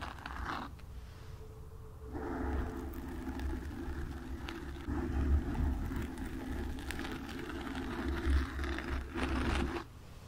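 Long nails scratch the sides and front of a black foam windscreen on a microphone. The result is a dull, rumbling, bassy scraping with almost no bright content; it stays quiet for the first two seconds, then swells into a steady rough rustle with a few louder surges before dropping off just before the end.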